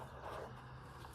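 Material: Nothing is struck.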